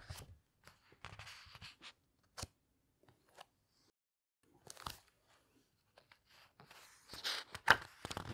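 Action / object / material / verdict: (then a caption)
scrape / hardcover book with glossy paper pages / paper / none. Long red nails press on the glossy paper pages of a large hardcover book, then lift one page and turn it. Soft scattered crinkles and light taps with quiet gaps between them build to a louder, brighter rustling flutter as the page turns near the end.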